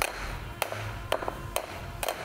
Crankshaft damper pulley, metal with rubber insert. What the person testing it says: бросать, и слышно такой звонкий звук